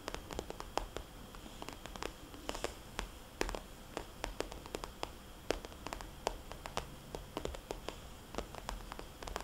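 Long nails of both hands tap a small, glossy red polka-dot plastic cosmetics bag lying flat. Many quick, sharp, clicky taps land in an uneven rhythm, each dying away almost instantly. A quiet, steady hiss sits beneath them.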